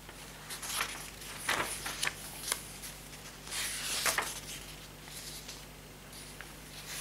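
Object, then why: Paper pages of a hardcover notebook. Fingertips lift and flip the paper pages of a thick hardcover notebook with a green patterned cover lying open on a table. Soft, bright rustling and brushing of the sheets comes in short bursts, with a longer swishing turn near the middle, over a faint steady low hum.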